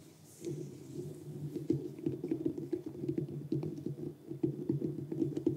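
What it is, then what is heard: Whole pumpkin tapped and scratched. Fingertips and nails tap and scratch across the rind of a large, whole, uncarved orange pumpkin resting on a cork board. The quick, dull patter sits low around 300 Hz, with each tap dying away almost at once.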